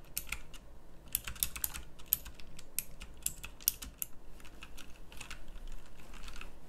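Long-nailed fingertips type on a pink backlit mechanical keyboard with round plastic keycaps. Rapid, uneven bright clicks and clacks run throughout, with a few sharper keystrokes standing out over a steady low background hum.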